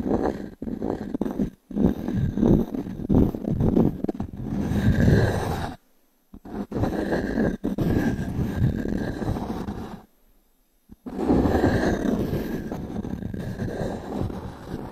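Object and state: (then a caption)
Pine wood slice coaster. A small wooden cube is scratched and tapped across the grain of a solid round pine log-slice coaster with a bark rim, held in one hand. The result is dense, close-up, low-to-mid woody scraping with rapid, irregular taps, broken by two brief silences.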